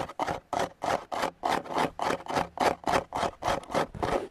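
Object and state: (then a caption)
Woven synthetic rattan chair. Fingertips and short nails scratch and tap the tight basket-weave of a grey woven synthetic (plastic) rattan outdoor chair with a hollow frame, right beside a foam-covered handheld recorder. A steady run of about fifteen short, dry, rasping strokes comes at a quick, slightly uneven rhythm, each a brief midrange scrape with a bright, papery edge.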